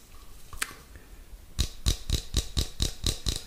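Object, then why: Small metal tin. Fingertips and nails tap and scratch the shiny metal lid and side of a small cylindrical metal tin with a purple label, held in one hand close up. A few faint scratches and one light tap are followed by a steady run of sharp, short taps with a dull low thump and a bright metallic click. Each tap dies away almost immediately.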